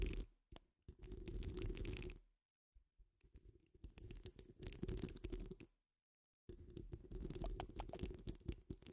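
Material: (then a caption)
Metal mesh. Long nails on both hands scratch a hollow metal mesh microphone dome, making dense, rapid scratching with a deep, rumbling low end and crisp high grit on top. Three bursts of scratching are separated by short silences.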